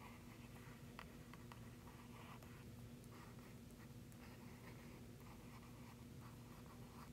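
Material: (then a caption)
Paper. A hand traces and scratches the pointed tip of a thin wooden stick across a thin glossy printed paper flyer lying flat on a red cardboard box. The result is a quiet, steady dry scratching with faint brief ticks over a constant low hum.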